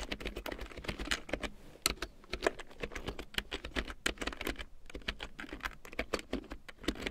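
A black plastic computer keyboard with large yellow plastic keycaps printed in black, lying on a fur rug, is typed on with fingertips and long painted nails. Quick, irregular runs of short, sharp plastic clicks and clacks come with brief pauses. Each keystroke dies away almost instantly, with bright tops over a faint low hum.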